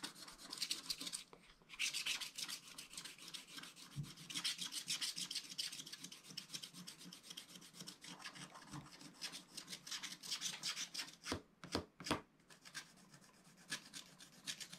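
A wooden stylus scrapes the remaining black patches off near the bottom of a wax-coated scratch art page. Quick, bright, raspy scratching strokes run throughout with little low end, and a few sharper, louder scrapes stand out near the end.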